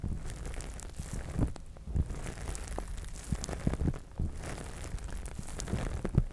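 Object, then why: Plastic spiked massage mat. A large, flat gray plastic massage mat covered in small spikes and square pads lies flat and is scratched and tapped with the fingertips and short nails of both hands. The result is a steady, low, muffled rustling and scraping broken by many soft, short taps and clicks.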